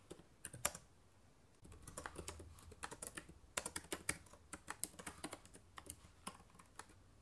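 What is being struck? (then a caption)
Plastic laptop keyboard keys. Fingertips type on the plastic keys of a black laptop keyboard, producing an irregular run of short, crisp clicks with bright tops. A brief pause near the start is followed by steady typing over a faint low hum.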